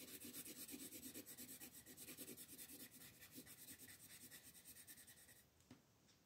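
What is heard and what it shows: A colored pencil is rubbed back and forth in quick shading strokes over a flat printed paper coloring book page lying on a wooden table, held down by one hand with long green nails. Steady, bright, scratchy rasps repeat about three times per second, then the scratching stops near the end, leaving a faint tap and quiet.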